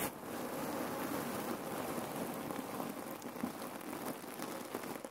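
Hands squeeze a red cotton neck pillow filled with cherry pits while long nails scratch its fabric. The result is a steady, dense, soft crackling rustle of shifting pits and scratched cloth, centered in the mids with faint high crackle.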